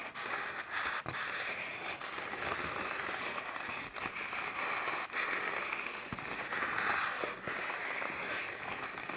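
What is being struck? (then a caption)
Plastic garbage bag. Fingertips and nails tap and scratch the taut film of a large black plastic trash bag that is filled with air and tied at the top. A dense, continuous crackle of bright crinkling and sharp little pops carries on throughout, with almost no low end.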